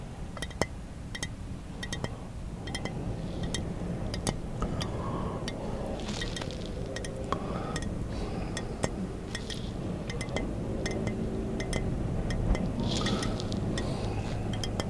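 Fingertips tap the top of a squat, round-bodied glass bottle with a short neck, held sideways in a car. Quick, irregular light glassy clinks repeat throughout over a steady low hum.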